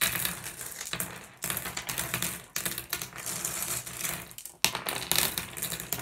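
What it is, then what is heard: Glass gem pebbles clacking. Hands sweep and scoop small solid blue glass gem pebbles across a wooden surface, making the gems clack together. The result is a dense, continuous stream of bright, dry clicks and rattles with very little ring, rising in fresh swells as each new scoop begins.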